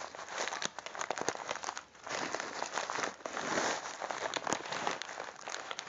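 A full plastic bag of popcorn kernels is held in both hands while the fingertips squeeze, rub and scratch the plastic. Dense, continuous crinkling and crackling fills the clip, with many sharp, bright clicks and almost no low end, rising and falling in waves of handling.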